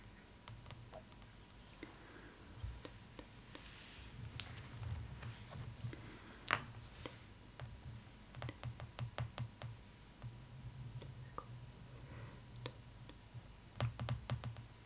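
Long nails tap and scratch the glossy paper cover of a closed hardcover art book, The Art of Spirited Away, resting on cloth, with a wooden stick lying unused beside it. Sharp, bright nail clicks come singly and in quick bursts over soft scratching, against a steady low hum.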